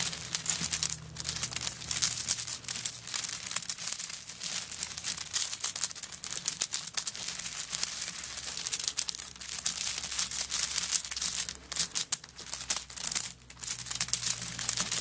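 Long nails scratch and rake across a handbag covered in coconut shell chips lying flat. The sound is a dense, continuous run of dry, crinkly clicks and scrapes, almost all bright and high, with a faint steady low hum underneath.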